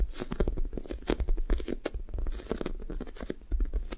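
A blue-topped sticky foam toast squishy toy has its sticky foam top pressed by long nails on both hands and peeled away. A rapid run of close, sticky tearing and pulling crackles follows, with short bursts and dense low thuds throughout.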